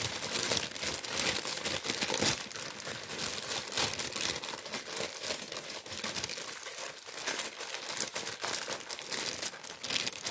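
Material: Paper.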